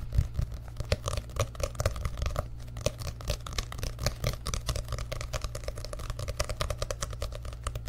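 An orange paperback book is bent, then held open close to a microphone while fingertips tap rapidly across its printed paper pages. The result is a steady stream of quick, dry, papery taps and soft crinkles that stop short with no ring, over a constant low hum.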